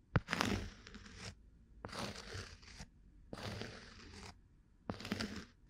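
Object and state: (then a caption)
Cork disc scratched. A bamboo ear pick with a fluffy tuft on the end scratches a round, flat, solid cork coaster held at a microphone shaped like an ear. Four bursts of dry, crunchy scraping are heard, separated by short silences. The scraping has a bright, hissy texture over soft low thumps.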